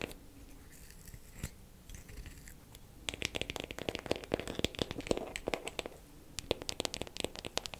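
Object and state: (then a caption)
Wooden makeup compact tapped with nails. A wooden makeup compact is tapped quickly with fingernails for ASMR. It opens with about three seconds of faint, soft scratching before a burst of rapid, sharp, dry clicking taps starts. The taps pause briefly around the six-second mark and then pick up again until the end.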